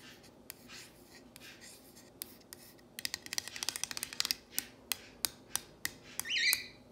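Long fingernails trace and scratch along the letters of a solid painted wooden plank sign reading "If MaMa ain't happy." Soft, bright rubbing strokes give way to a quick run of sharp, dry nail taps and clicks that die away almost instantly. A louder scratchy swell comes near the end.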